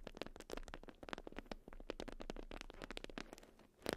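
A watermelon-print beeswax wrap bundle made of wax-coated cotton is scratched and tapped with long acrylic nails. The result is a quick, dense series of dry, crackly taps and crinkly scratches that stop short with no ring. It stays fairly quiet throughout, with a brief louder burst at the end.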